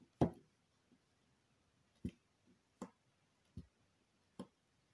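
A needle tool scratches and scores criss-cross lines into the top of a solid square purple bar of soap held flat by a hand with long green nails. Five short, dry scratching ticks sound apart in near silence, each a low, soft scrape that dies away almost instantly, with a few fainter scrapes between them.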